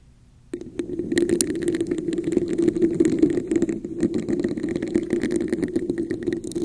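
A hollow red plastic cup with a raised diamond texture sits upside down over a microphone while long acrylic nails scratch and tap its textured surface with both hands. After half a second of near silence, a dense, continuous stream of scratching and quick tapping begins, carrying a hollow, boxy resonance around 300 Hz with bright, crisp clicks on top.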